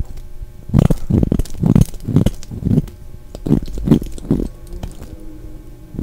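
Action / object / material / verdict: scrape / bar of soap / soap / none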